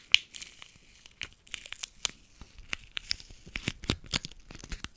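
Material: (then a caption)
Aluminium foil. A small crumpled piece of silver aluminium foil candy wrapper is pinched between the fingertips of both hands and crinkled and rubbed close to the microphone. Irregular bursts of sharp, bright crackling and crinkling snaps, centered around 3 kHz, stand out over near-silence, with a loud pop near the start and denser crackles toward the end.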